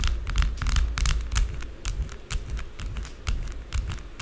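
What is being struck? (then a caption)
Bar of soap tapped and scratched with long nails. Long blue acrylic nails rapidly tap and scratch a small, solid, rectangular white bar of soap with embossed lettering, lying on a dark table. Quick, irregular, sharp bright clicks and scratchy rasps run over a steady low thudding rumble. The taps are short and dry, fading almost at once.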